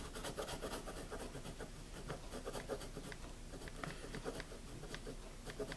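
A pencil writes continuously on a wire-bound paper spiral notebook lying flat, its tip scratching the paper in quick strokes. The sound is a soft, steady scratchy rubbing with a low body and brief brighter ticks from individual strokes.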